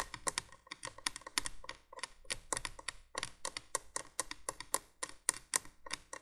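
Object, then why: Plastic window candle base. Long nails tap rapidly on the hollow base of a plastic window candolier, making a quick run of short, dry, bright clicks with almost no ring. The taps come in uneven bursts throughout, about 32 in all, with a faint low hum underneath.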